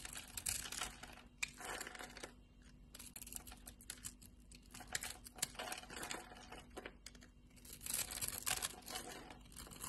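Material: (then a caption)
Soap. A pink-and-white striped solid bar of soap, held in a hand with long red nails, is shaved and scraped with a utility knife blade, and soap flakes pile up on the bar. Bright, crisp scraping and crackling bursts come in uneven waves with brief quieter gaps, over a faint low steady hum.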